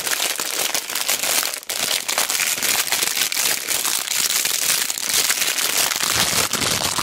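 A pack of small solid wooden cubes in a clear plastic bag with a cardboard header is squeezed, pressed and rubbed with fingertips and long black nails. Dense, bright plastic crinkling runs almost continuously, mixed with quick clacks of the wooden blocks, and briefly drops away near 1.6 seconds.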